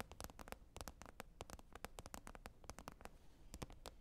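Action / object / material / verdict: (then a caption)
tap / plastic container lid / plastic / none. Long red nails tap and scratch a green plastic container lid. The result is a quiet, rapid, uneven run of short, dry, bright clicks with scratchy texture between them, over a faint low rumble, and each tap dies away almost instantly.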